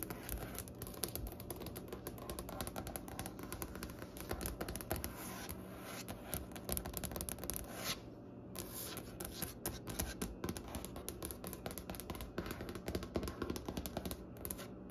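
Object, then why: Wooden butcher-block desk top. Long nails tap and rub on the top of a large, solid wooden butcher-block desk with striped grain. Dense, quick clicks and scratchy scrapes run through the whole clip over a low hum, with a brief pause in the tapping just after the midpoint.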